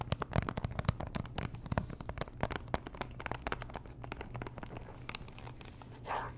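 Long nails tap and scratch a small pink Chanel perfume box, a hollow cardboard box likely still in its plastic wrap. Rapid, dry, close clicks and crinkly scratches come in a dense irregular stream, each one dying almost instantly over a low, steady hum.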